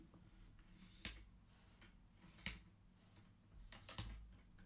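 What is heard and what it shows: Fingertips slide colored wooden beads back across the metal rods of a wooden abacus so they click together. Sharp, bright wooden clicks come at irregular intervals, with a quick cluster of clicks near the end over a faint low background hum.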